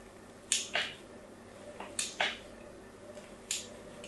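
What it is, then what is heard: Soap bar being scratched. A fine blade scratches crosshatch lines into the face of a solid pink soap bar held in the hand. Six short, crisp, bright scrapes come mostly in pairs, each fading quickly over a quiet background hiss.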